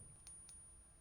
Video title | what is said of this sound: Антиквариат: оригинал vs подделка. В чём разница и как не быть обманутым | Kein Ton. Nur ein dumpfes Klopfen. Als wäre sie innen leer.